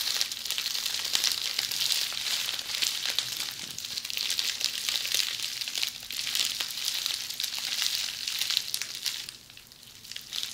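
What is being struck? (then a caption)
Plastic bubble wrap. A roll of red plastic bubble wrap held in the hands is scratched by long polished fingernails. It makes a steady, bright crinkling and scratching full of tiny crisp clicks, with almost no low end. The sound eases briefly around four seconds and again near the end.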